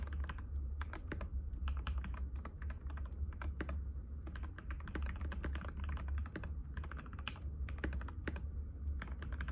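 Fingertips of both hands type continuously on a compact cream-white mechanical keyboard with plastic keycaps and a hollow case, resting on a glass table. Rapid, sharp clicking taps run throughout over a steady low hum.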